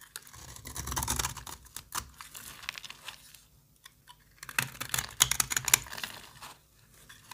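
A solid rectangular orange bar of soap, held in the hand, is shaved and cut with the metal blade of a yellow box cutter, and the flakes fall onto a pile of soap shavings. Dry, bright scraping and crisp crackling bursts come in uneven runs, with a few sharper clicks near the end and very little low end.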